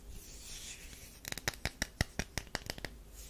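Long nails scratch a solid tan DURU bar soap, making a soft, airy scraping hiss for about a second. Then a metal knife blade is brought to its edge, producing eleven quick, crisp, bright clicks and scrapes in an uneven rhythm. Each click is short and dry with almost no ring.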